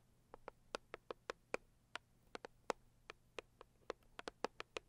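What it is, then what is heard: Cardboard gift box tapped with fingernails. Long purple acrylic nails tap and scratch the lid of a medium-size, hollow, pink floral Saviland rigid cardboard box. About 20 quiet, sharp clicks land in an uneven rhythm. Each has a hollow midrange body and a bright tick that dies almost instantly over a faint steady low hum.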